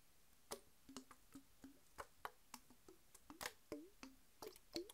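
A Mountain Dew bottle of PET plastic, full of green soda and lying on its side, is tapped with long white nails. Sixteen quick, dry taps sound, each a bright click with a short, hollow tone around 340 Hz that fades almost at once.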